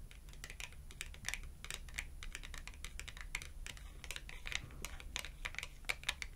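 Long acrylic nails rapidly tap the edge of a small red glossy cardboard clothing tag held edge-on. Dense, short, dry clicks patter continuously with a bright ticking tone around 2.3 kHz, over a steady low hum.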